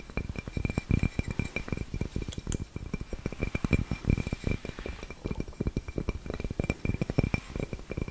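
A flat white ceramic coaster shaped like a cat's head, palm-sized and solid with a cork inlay, is held in both hands and tapped quickly with long nails. The result is a steady stream of short, dry clicks and clinks, mostly low and thumpy with a faint thin high ring that fades almost at once.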